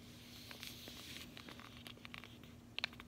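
A closed cardboard chocolate bar sleeve is held in one hand and tapped with the fingernails of the other. It makes quiet, crisp, bright clicking taps with almost no ring, over a faint steady low hum. The last pair of taps is the loudest.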